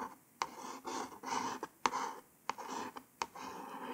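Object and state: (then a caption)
Fingernail scratching a cardboard card. A long nail tip traces letters across a small white cardboard false nail package card in a scratchy writing motion. Dry, raspy scraping strokes alternate with brief pauses, punctuated by sharp clicking taps as the nail touches down on the card.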